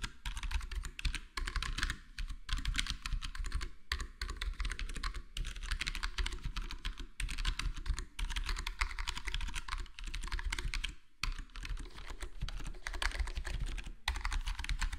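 Fingertips of both hands type steadily on a full-size black plastic HyperX Alloy Core gaming keyboard with square plastic keycaps and a foam-modded, foam-dampened case. The result is a dense run of short, soft, muted key taps over a steady low hum, with brief pauses and a longer gap around 11 seconds.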